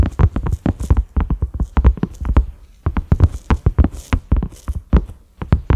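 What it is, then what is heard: Silicone pot lid. Fingertips and nails of both hands tap quickly on a large, flat, cream silicone pot lid with concentric ridges and a black center knob. The taps are short, dull thuds, mostly low with only faint brighter clicks from the nails. They come in uneven rapid bursts with a brief pause near the middle.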